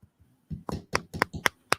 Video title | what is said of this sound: Free-form Friday 07-05-2024 | oh it's just bone on wood